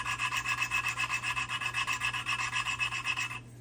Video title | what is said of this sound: 2002 LS430 Cylinder Heads Replacement | You can hear the rubbing.